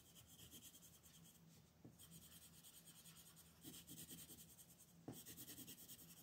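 A red wooden colored pencil rubs back and forth across a flat white paper coloring sheet lying on a table, shading a beetle's shell. The quiet, steady, rhythmic scratching has a bright, papery hiss, with a few slightly sharper strokes standing out over a faint low hum.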